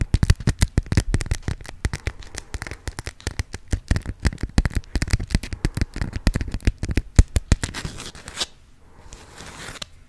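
A yellow honeycomb-print beeswax-coated cotton food wrap is folded and crinkled between the fingers and scratched with long nails. It makes a dense, irregular run of sharp crackles and dry clicks with a heavy low thump. Around eight seconds it drops to a soft, faint rustle.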